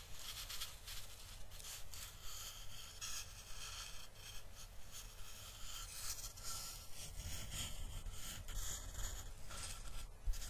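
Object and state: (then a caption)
Driftwood plank rubbed and scratched. Fingertips rub and scratch along the grain of a flat, solid, weathered driftwood plank held up in both hands. The result is a quiet, continuous dry scraping with bright, airy texture over a steady low rumble, swelling in irregular strokes without clear separate hits.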